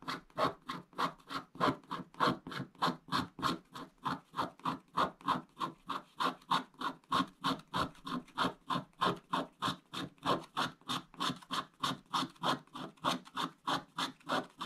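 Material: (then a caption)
Coated paper. A wooden stick scratches in vertical strokes across a flat, wax-coated scratch-art paper page with a black coating over blue foil. About 50 dry, raspy scrapes repeat at a steady back-and-forth rhythm, each a short, bright scratch with a papery rasp and almost no ring.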